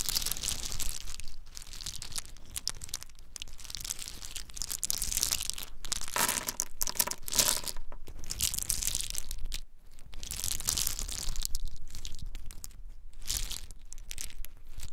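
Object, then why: In-shell pine nuts. Small, hard, brown in-shell pine nuts are rubbed together in the hands, then poured out and dropped from them. The result is a dense, bright, crackling rattle of many tiny clicks and crunches, running almost continuously with a few brief dips.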